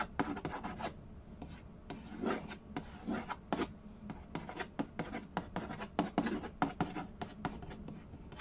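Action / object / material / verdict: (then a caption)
scrape / cardboard board game box with glossy lid / cardboard / none. Fingertips rub, trace and scratch the glossy lid of a rectangular, hollow cardboard Mastermind game box. The result is a rapid series of dry, rasping strokes and short scratchy bursts, with a hollow low-mid body and little ring after each stroke.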